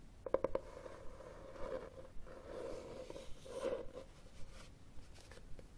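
Fingernails scratch the cover and spine of a solid red hardcover book with textured cloth binding, first tilted and then held horizontally. A few sharp ticks open the clip, followed by soft, low-level scratching swells that carry a steady hum-like tone near 530 Hz, with little bright content.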